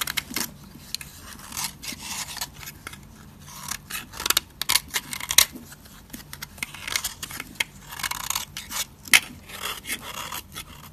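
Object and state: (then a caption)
Dry soap bar scraped with a blade. A metal utility blade scrapes along the edge of a thin slab of dry purple soap held in the hand, shaving off powdery flakes. It makes a series of quick, dry, bright scratching and crackling strokes with almost no low end and no ring after each stroke.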